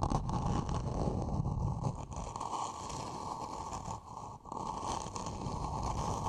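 Long nails scratch a small, empty, matte black hollow plastic planter pot held in both hands over the microphone. The result is a continuous, dense scratching rustle with a boomy low hollow resonance and a brighter band near 1 kHz, dipping briefly near the end before picking back up.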